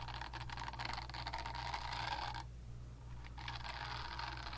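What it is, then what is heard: Silicone facial cleansing brush scratched by nails. Long nails scratch and tap the smooth back of a pink, palm-sized silicone facial cleansing brush held close to the mic. The result is a dense, bright scratching rustle with a steady low hum underneath. The scratching breaks off for about a second partway through, then resumes.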